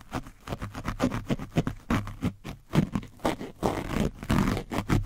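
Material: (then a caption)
Foam. A foam brush is scraped along the side of an orange foam microphone windscreen coated with dried paint. It produces a fast run of rough, scratchy strokes with a heavy low-end rumble and little high brightness, each stroke short and dry with no ring.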